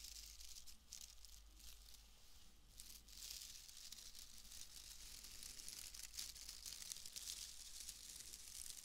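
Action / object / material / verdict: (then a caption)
scrape / bundle of wood wool shreds / wood wool / none. A pale bundle of wood wool shreds is crinkled and squeezed with fingers, giving a dense, continuous crackling rustle that stays bright and high. The crackle swells and fades unevenly over a steady low hum, without clearly separate hits.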